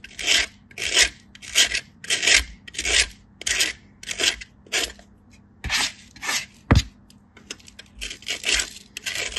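A flat, solid white bar of soap is rubbed by hand across a small stainless steel grater, making a series of bright, rasping scrape strokes in a steady back-and-forth rhythm as soap powder falls away. One sharp click stands out partway through, and the strokes turn quieter and more broken toward the end.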